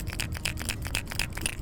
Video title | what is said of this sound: A Hard Knock Life - FULL EPISODE | a much harder knock as compared to the rattles so it's a more dominating sound